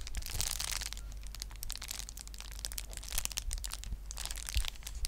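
A clear plastic bubble wrap sheet held in both hands is squeezed and scratched with long nails, crushing the bubbles. The result is dense, bright crinkling and crackling with frequent sharp pops and short scratchy bursts over a steady low hum.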